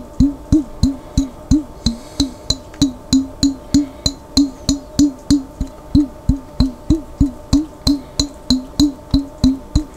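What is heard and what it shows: A large clear glass Vlasic pickle jar with a white-topped lid, held on its side and partly filled with water, is tapped with fingertips on the lid and the jar. About 30 quick, hollow taps sound at a steady pace of roughly three per second, each with a pitched knock near 290 Hz and a faint bright click. Each tap dies away within about a tenth of a second.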